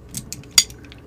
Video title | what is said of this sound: Miniature Guns: Alloy Empire 1:2.05 Scale Desert Eagle Comparison and Review | when you pull the trigger kind of sounds I don't know if you guys can hear that but it sounds Hollow